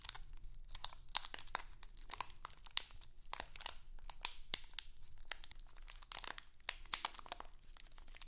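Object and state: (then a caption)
Crinkly plastic candy bag. A small, printed, crinkly plastic Halloween candy bag is held in both hands and crinkled and scratched with long acrylic nails. The result is a dense, continuous stream of bright crackling crinkles with sharp snaps that die away almost instantly, over a faint low rumble.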